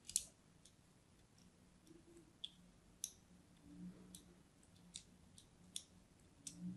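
A palm-sized, solid purple-and-white striped soap bar is held in the hand and scored with a thin pointed blade in scratching and cutting strokes. Each stroke gives a short, crisp, bright click that dies away almost instantly, spaced irregularly over a faint low background hum.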